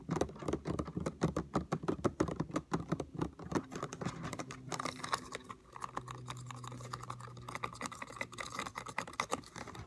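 Fingertips and nails tap and scratch a hollow yellow plastic Lysol cleaner spray bottle. Quick, dense, hollow clicking taps fill the first few seconds, then give way to a softer stretch of scratching with a low hum before slower, scattered taps return.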